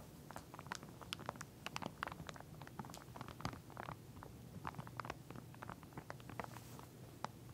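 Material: Plastic.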